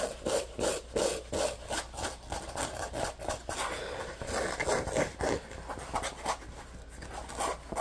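Fingertips rub and scratch the printed front of a hollow orange Scrub Daddy neoprene lunch bag with a handle cutout, held on a lap. Quick, dry scratching strokes repeat at about three per second in an uneven rhythm, with a soft papery texture centered in the midrange around 590 Hz. Each stroke dies away almost instantly.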